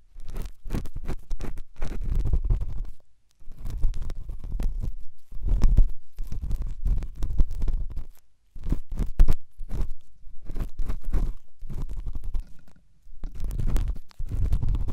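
A pen tip scratches and rubs inside the left white silicone dummy ear of a binaural microphone. It makes close, muffled, low rumbling scrapes and crackles that come in bursts of rapid strokes with brief pauses between them. The sound sits almost entirely in the deep low end, around 86 Hz, with little brightness.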